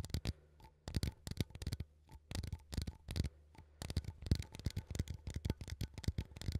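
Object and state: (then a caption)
Metal coffee tin. A small cylindrical metal coffee tin, held in both hands, is tapped and scratched with fingertips and nails on its lid and side. Quick, soft, irregular taps with brief bright clicks and light scratching fill the clip over a low, steady hum.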